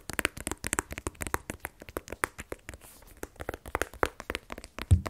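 Fingernails tap rapidly on a small black rigid cardboard iPhone 12 Pro box, hollow with the phone inside and held in the other hand. Around thirty short, dry taps sound in an uneven run, each a hollow low thump with a bright clicky edge that dies away almost at once. The last tap, near the end, is the loudest.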